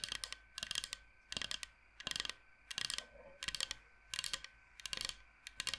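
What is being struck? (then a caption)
Bamboo cutting board. Fingernails tap and click very fast on a large, flat, solid bamboo cutting board shaped like the state of Michigan. Quick bursts of crisp, bright, dry clicks repeat with short quiet gaps between them. The clicks are sharp and die away instantly, with almost no low end.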